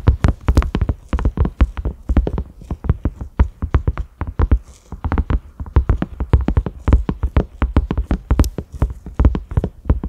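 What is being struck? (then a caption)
Silicone pot lid. A cream silicone pot lid with concentric ridges and a black center knob is tapped rapidly with the fingertips and short nails of both hands. The result is a steady stream of soft, dull, low thuds that die away almost instantly, with faint clicks from the nails over the top.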